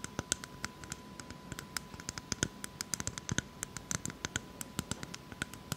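Long acrylic nails scratch and tap the hard, fibrous husk of a whole brown coconut. The result is a rapid, irregular patter of short, bright clicks with dry scratching between them, and each click dies away almost instantly. A faint steady tone hums underneath throughout.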